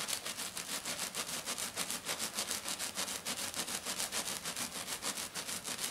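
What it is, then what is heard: Glitter foam sheet. Long dark nails of both hands scratch rapidly across a flat silver glitter sheet, probably glitter foam, making a bright, dry, hissing rasp. The quick strokes repeat in a steady rhythm at about three per second, with almost no low end.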